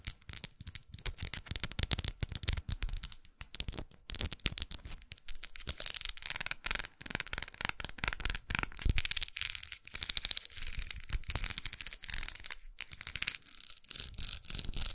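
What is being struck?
Twisted plastic brush handle.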